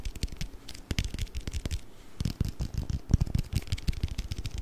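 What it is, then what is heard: Plastic container filled with water beads. A small, round, clear plastic food container with a blue lid, filled with colorful orbeez, is held in both hands and tapped quickly with fingertips and nails. The result is a rapid, uneven run of short, dull, low thuds, each dying away almost at once, with faint bright clicks from the nails.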